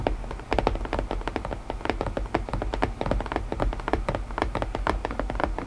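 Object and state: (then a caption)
Wooden puzzle box. Fingertips tap rapidly on a wooden puzzle box, producing a steady run of short, dry knocks that stop almost instantly. The taps come in quick irregular clusters over a low background hum, with no speech.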